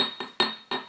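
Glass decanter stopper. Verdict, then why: Hollow. Repeated taps on the hollow stopper of a newer 1970s UK crystal cut glass decanter, fitted with a later-added rubber seal, give bright, glassy clinks with a thin, high ring near 3.7 kHz. Each tap dies away quickly. The sound comes across as hollow and light because the stopper is filled with air rather than solid glass.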